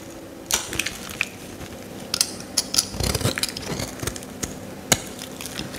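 A metal utility knife blade scrapes shavings off a solid yellow Lifebuoy soap bar held in the hand. The result is a series of sharp, bright, crackling scrapes and crisp clicks with very little ring, spread over a quiet, steady background.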